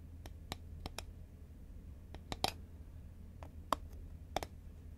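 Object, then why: Cardboard snack tube. Long nails tap the side of a green Pringles cardboard tube held horizontally in both hands. The result is sharp, dry, irregular clicks with a bright edge that stop almost instantly, over a steady low hum.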